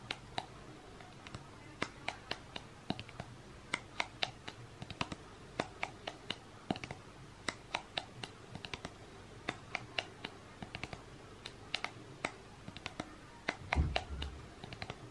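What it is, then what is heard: Clear plastic cup. Painted fingernails tap rapidly and irregularly on the sides of an empty, clear, thin, hollow plastic cup held in both hands. Each tap is a short, bright click that dies away almost at once over a low, steady background hum. A heavier burst of handling thumps comes near the end.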